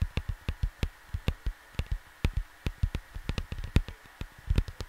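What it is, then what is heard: Cardboard record sleeve. Fingertips and short nails tap and scratch the lower part of a flat cardboard LP sleeve in a quick, uneven run of soft, dull thumps. The thumps are mostly deep with a faint brighter papery scratch on top, and each one dies away almost instantly.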